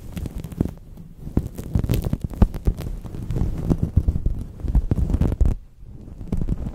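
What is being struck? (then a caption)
Synthetic microfiber cloth. A purple synthetic microfiber cloth folded over the microphone is rubbed and scrunched with fingertips and palms, producing a dense, muffled low rumble full of soft thumps and crackling bursts. The sound stays heavy and bassy with almost no bright content, dipping into a brief quieter lull near the end before the rubbing resumes.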